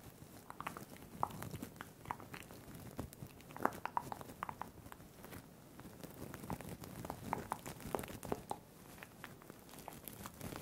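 Fingertips grip and squeeze a small, soft, hand-sized crinkle toy covered in iridescent blue and green plastic sequins, held close to the microphone, crumpling the sequins and the crinkly filling inside. The result is quiet, dense, continuous crinkling and crackling, dotted with many sharp, short clicks and snaps that die away almost instantly over a soft low rustle.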